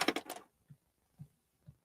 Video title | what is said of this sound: fifth THX element experiment AC-3 laserdisc | Well, yeah, I can hear that's plastic there and it's going to make a boom boom boom.